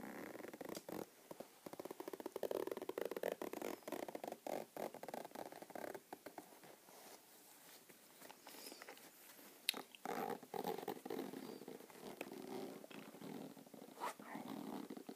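Fingertips and nails scratch and rub along a large, soft, hollow, open purple paisley quilted cotton Vera Bradley tote, including its zippered inner pocket. Dense, dry bursts of scratchy rustling run throughout, likely mixed with zipper sounds. The sound thins to a quieter stretch in the middle before picking back up, and each scrape stops dead with no ring.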